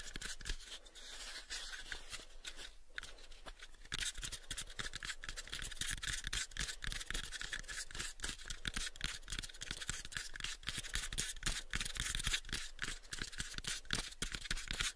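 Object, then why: Small wooden box. Fingertips tap rapidly on a small pale wooden cube box gripped in both hands. The quick, uneven stream of dry, clicky taps carries bright high texture over a soft low knock. Each tap dies away almost at once, and the level stays steady throughout.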